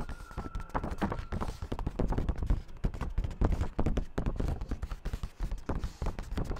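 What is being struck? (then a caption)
Sheet of printer paper. A single thin white sheet of printer paper, about letter size, is held up in one hand while fingertips tap and rub it, making it flex. Rapid, dull, low-pitched tapping and soft rubbing run continuously, with each tap dying away almost at once.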